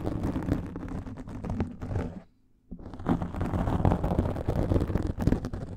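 Long nails scratch rapidly over a black foam microphone windscreen, making a dense, muffled, low-heavy rustling and scratching. The scratching drops to near silence for about half a second midway, then resumes just as busy and slightly louder.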